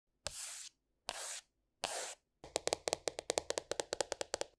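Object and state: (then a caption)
Spiral sketchbook with plastic cover. Short painted fingernails work on the glossy green polka-dot plastic cover of a flat A4-size spiral-bound sketchbook, a solid paper block under the cover, lying on a wooden table. Three hissy scratching strokes come first, then a quick, uneven run of crisp, dry taps on the cover.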